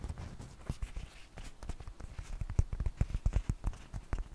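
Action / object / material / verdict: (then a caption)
tap / dry flour tortilla / flour / none. A large, thin, flat flour tortilla, dry and flexible and held up in both hands, is tapped with long painted fingernails. A quick, irregular series of soft, dull taps sounds, each very short with almost no ring and its weight almost entirely in the low range.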